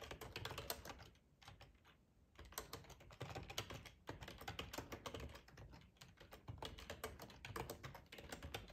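Fingertips of both hands type on a black plastic ergonomic split computer keyboard with a hollow housing, lying on a tablecloth. A steady run of quick, crisp key clicks with a low hollow thump under each tap, easing into a brief quieter lull near the start before the typing picks back up and continues to the end.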